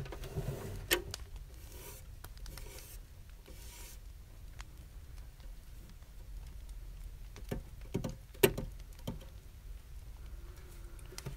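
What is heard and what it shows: A small hollow brass box with a hanging latch, held on a desk, is rubbed and tapped on its sides with fingertips and fingernails. Quiet, steady scratchy rubbing runs throughout, broken by soft taps and a few sharper bright clicks that die away almost at once.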